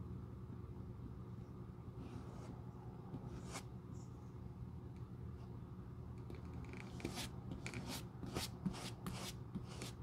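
A small bristle glue brush on a metal handle is rubbed and brushed across the worn tan leather outsole of a black shoe held in the hand, its solid flat surface. Soft, quiet scratchy strokes sit over a steady low hum, and the brushing grows quicker and brighter in the second half as short, crisp bristle swipes come one after another.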